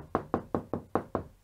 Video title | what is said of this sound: How to Fix into Plasterboard - a Complete Guide to all the Best Fixings | it's consistently hollow, apart from where you hit a stud